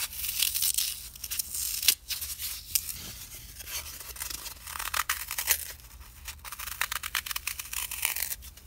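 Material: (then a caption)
Floral foam. A small, solid, green block of dry floral foam is torn and crushed at its edges by two hands, with fingertips and nails rubbing off crumbs. The sound is a dense, bright, crackling and crumbling scratch, with short, sharp snaps and no ringing, rising and falling in bursts throughout.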